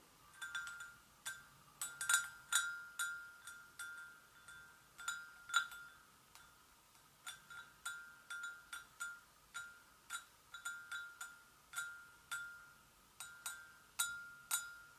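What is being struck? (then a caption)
Porcelain gravy boat. Long nails gently tap the sides of an empty, hollow white porcelain gravy boat in an irregular rhythm. Each tap gives a quiet, bright, high clink with a clear ring near 1.4 kHz and shimmering overtones that fade quickly.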